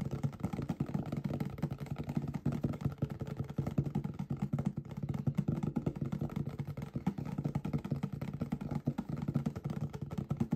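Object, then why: Small cardboard product box. Fingertips and nails tap and scratch the faces of a small, hollow, green printed cardboard box for a computer mouse, held close. The result is a dense, steady stream of quick, dull, low thuds and soft scratches, with almost no high or bright content, continuing throughout.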